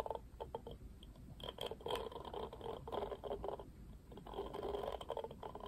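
Fingertips strum and scratch the black plastic bristles of a pink plastic paddle hairbrush. Quiet, dry, rapid scratchy clicks come in uneven bursts, with a papery midrange rasp and a faint bright edge over a low hiss.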